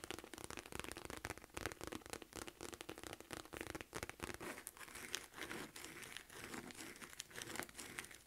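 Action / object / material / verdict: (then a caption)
scrape / small quilted faux leather wallet purse / faux leather / none. Long nails scratch along the stitched ridges of a small, hollow, mustard yellow quilted faux leather wallet purse with a silver chain. The result is a quiet, dense run of short, dry crinkling and scratching strokes that are bright and crisp, with little low end.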